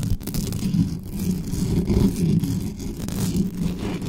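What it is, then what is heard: Metal microphone grille being scratched. Hands cup and grip the uncovered grille head of a dark metal USB condenser desktop microphone while long nails scratch and rub fast across the mesh. The result is a continuous, dense scratching rumble concentrated in the low range around 200 Hz, with a faint bright hiss on top and no clear gaps between strokes.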